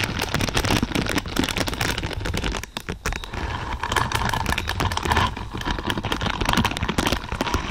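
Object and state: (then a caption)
Plastic bristle pad. Long purple nails scratch and tap among the thin, flexible plastic or silicone pins of a large lavender spiky bristle pad. A dense, crackling stream of quick clicks and rustling scrapes with a low rumble beneath continues throughout, easing briefly just before the three-second mark.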